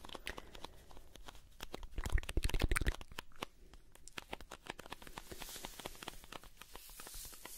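A blue "Alpen Salz" cardboard salt carton is held in both hands while fingertips scratch and tap its printed cardboard surface. The result is a fast, irregular stream of dry, crackly taps and scratches, swelling to a louder burst of knocks in the middle before settling into softer, brighter scratching.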